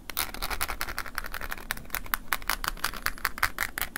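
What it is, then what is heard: Plastic flip phone. A wooden ear pick scratches and taps the ridged back and face of a small, hollow, closed silver flip mobile phone with a plastic and metallic-finish shell. The result is a quick, steady run of dry, bright clicks and scrapes, each dying away almost instantly, over a faint low rumble.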